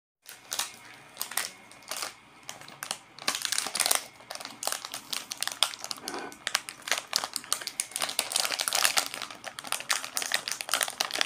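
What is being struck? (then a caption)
Plastic film wrapper of a biscuit pack. A small sealed Oreo pack in crinkly plastic film, full of biscuits, is held in both hands and squeezed and crinkled with the fingers and fingertips. Bright, dry crinkles come in short separate bursts at first, then build into a dense, steady run of sharp crackling with almost no low end.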